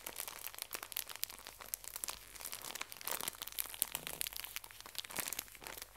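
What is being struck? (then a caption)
Pocket tissue pack in thin plastic wrap. A full pocket tissue pack in thin plastic wrap is squeezed and crinkled by both hands with long nails. Dense, bright crackling comes in rapid clustered bursts throughout, with almost no low end and very short decay.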